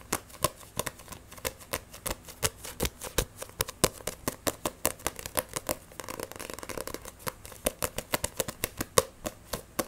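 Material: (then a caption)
Paper. Fingernails tap, scratch and grip fast on the glossy cover of a Black Butler paperback manga book, making about fifty sharp, dry clicks with almost no ring. Around the middle a denser stretch of continuous scratching fills the gaps between taps before the quick, bright tapping returns.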